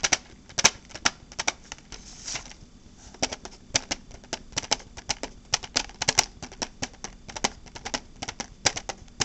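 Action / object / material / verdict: tap / small hard plastic case / plastic / none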